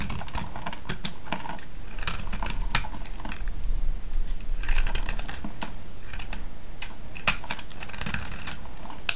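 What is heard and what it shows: A small metal blade shaves and scrapes a solid, hand-sized vintage yellow soap bar held in the hand, producing flakes. The result is a steady run of dry, crisp scratches and quick clicky ticks, with bright crackle over a low, muffled rumble and a slightly louder cluster of scrapes near the middle.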